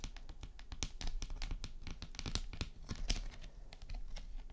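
Long nails tap quickly on a flat, rectangular, hollow, glossy red plastic eyeshadow palette case lying flat. The result is a rapid, uneven patter of short, sharp clicks with bright edges over a faint low rumble, each tap dying away almost at once.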